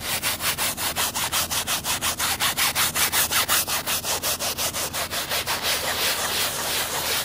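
A white plastic scrub brush with blue bristles is worked by hand in steady back-and-forth strokes over the soapy woven backing of a fabric rug. The result is a rhythmic, bright, hissing scrape with about 22 distinct strokes. In the final second and a half the strokes blur into a smoother, continuous rub.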